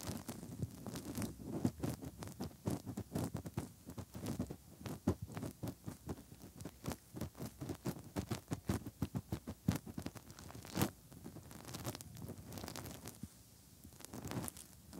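Fingertips scratch and rub inside the hollow canals of the soft silicone ears on a 3Dio binaural microphone. The result is a dense run of quick, dry, low-heavy scratches and thumps with brief muffled rustling between them.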